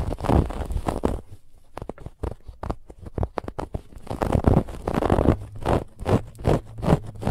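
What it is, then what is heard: Textured fabric pillow scratched. Long fingernails of both hands scratch quickly across a soft, stuffed white fabric pillow with a woven textured band. Dense bursts of rough, rustling scrapes with a breathy, bright hiss give way to sparser, sharp scratches in the middle, then build back into fast, rhythmic scratching strokes.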